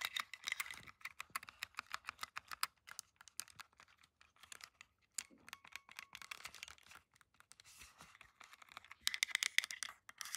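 Long decorated acrylic nails rapidly tap and click across the solid plastic shell, buttons and joystick of a handheld Nintendo Switch with a red joy-con, resting on a carpet. Quick, dry, bright clicks and taps centred around 2 kHz come in dense bursts with brief pauses, the busiest flurry at the end. Each tick stops instantly with no ring.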